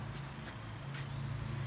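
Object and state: Nothing is struck.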